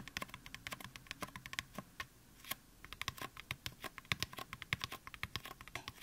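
Fingertips of both hands tap quickly on the top and upper sides of a life-sized, solid white styrofoam mannequin head. The result is a dense run of dozens of short, dry, bright clicks, with a brief lull just past the two-second mark, and each tap dies away almost instantly.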